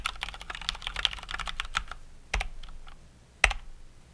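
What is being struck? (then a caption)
Mechanical keyboard with plastic keycaps. Fast two-handed typing on a COX Dauntless mechanical keyboard with Cherry MX Brown switches and plastic keycaps gives a dense run of bright, short clicks. Then a single finger presses individual keys and the spacebar, ending with two louder, separate thocks.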